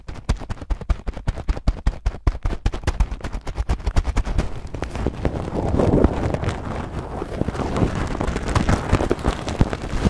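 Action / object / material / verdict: shake / plastic bag of small acrylic beads / acrylic plastic / none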